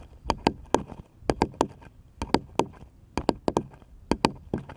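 A small, light, solid wooden paddle-shaped piece is held upright and tapped with the fingertips. About sixteen short, dry knocks come in irregular clusters of two or three, each with a brief hollow tone near 900 Hz that dies away almost at once.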